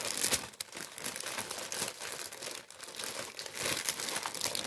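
A large tan kraft paper baguette bag printed with wheat motifs is held close and handled by fingertips, which crumple the paper. The result is a steady, bright crinkling with quick crackles that swell and ease, with almost no low end.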